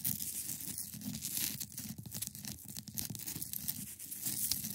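Long nails scratch and tap the top of a hand-sized solid block of clear ice resting on a fabric surface. The result is a steady, bright, crackling scrape broken by many quick, sharp taps, with a low hum underneath.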